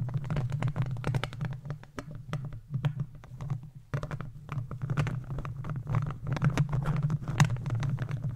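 The plastic claws of gardening gloves scratch and tap across a hollow metal mesh microphone grille. Rapid, dense clicks and scraping rustles sit over a boomy low hum around 150 Hz. The sound drops briefly near the middle before the busy tapping resumes.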